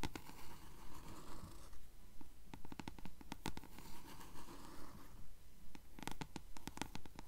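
Long fingernails scratch along the yellowed page edges of a closed paperback book held upright, producing quiet, dry scratching strokes in a steady, regular rhythm. Each short rasp has brief bright transients over a soft, low-heavy rustle and dies away almost instantly.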